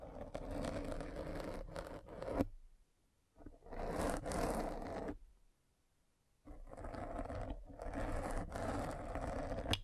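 A metal-spiked derma roller is rolled along the side of a black foam windscreen on a microphone, scraping the foam. Dense, crackling scrapes come in three long sustained stretches with a low-mid body, separated by two brief near-silent pauses.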